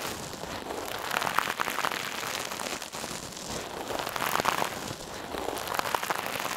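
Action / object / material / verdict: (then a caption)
scrape / metal mesh scrub sponge / metal mesh / none. A hand-sized, soft, silver metallic mesh scrub sponge held in one hand is squeezed and rubbed over a mannequin ear. It gives a steady, dense crinkly crackling with bright, sharp ticks centred around 1.3 kHz and almost no low end. The crackle swells in two denser bursts partway through.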